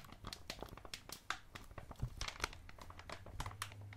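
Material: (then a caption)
Soft plastic. A blue soft plastic Electronic Wipes pouch, filled with wipes, is crinkled and pressed with fingertips and thumb. Dense, quiet crinkling and sharp bright crackles come in quick bursts over a low, steady rumble, each snap dying away almost instantly.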